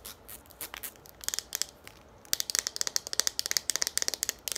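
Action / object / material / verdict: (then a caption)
tap / plastic pump bottle / plastic / none. Long nails tap a hollow green plastic Garnier shampoo pump bottle, making quick, bright, dry clicks with almost no ring and no low end. The tapping starts soft and scattered with a crinkly, scratchy texture, then becomes faster, louder and sharper partway through.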